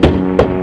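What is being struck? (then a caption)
Fabric-covered aircraft wing. Two hollow, drum-like taps on the fabric-covered underside of a Pitts S-1T biplane wing during a walkaround, listening for any loose screw, nut or pin rattling inside that could jam the controls. Each tap gives a low, resonant thump with a short tonal ring, and the second lands about a third of a second after the first.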